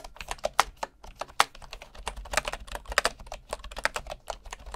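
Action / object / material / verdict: tap / bamboo wooden keyboard keys / bamboo wood / none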